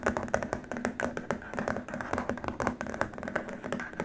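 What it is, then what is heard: Plastic keyboard wrist rest. Fingertips of both hands tap rapidly on a long, flat, white rigid plastic keyboard wrist rest, producing a dense stream of short, dry clicks. Each tap dies away almost instantly, with a hollow tone around 555 Hz.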